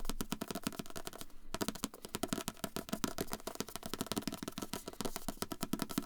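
Fingers tap rapidly on a book in close-up ASMR fashion, producing a steady stream of short, dry knocks. Each tap has a soft low-mid thump and dies away almost instantly, with a brief break in the rhythm around the middle.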